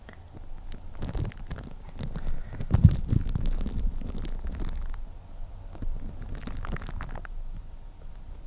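Clear plastic cling film wrapped over a microphone head is crinkled and scratched with long painted nails. The result is a dense, low, muffled rumbling with many soft crackling scrapes throughout, swelling loudest near the middle.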